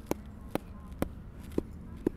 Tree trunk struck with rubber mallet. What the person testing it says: it sounds solid sounds great that's solid